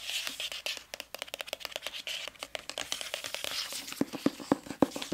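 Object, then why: Hardcover book with glossy paper dust jacket. Long nails scratch and tap quickly across the glossy paper dust jacket of a medium-sized, solid hardcover book held up in the air. Dry, bright clicks and scratchy swipes come at an uneven rapid pace, and a few firmer, hollower taps stand out toward the end.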